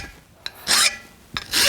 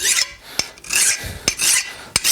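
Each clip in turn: First: soft steel (file bites in). Second: hardened steel, file skates off.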